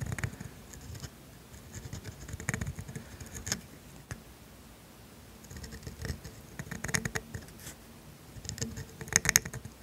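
A steel pointed dip pen nib writes cursive ink strokes on thin grid paper, giving soft, dry scratching and pattering bursts in several clusters with quiet pauses between. The strokes carry a bright, papery hiss, and a few sharper ticks stand out near the end.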